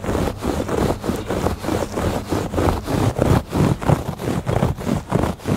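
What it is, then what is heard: Woven textile rug. Fingertips and nails rub and scratch back and forth across the weave of a woven textile rug. The result is a steady rhythm of dry, muffled scratching strokes, each swelling and fading quickly, with most of the sound low and very little brightness.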